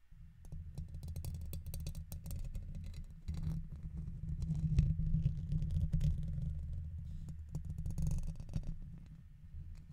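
A red plastic guitar pick is scratched across the side and top of the hollow metal mesh dome grille on a silver condenser microphone. Dense, irregular scraping and clicking comes through as a heavy low rumble, with sharp brief ticks flickering up into the high range.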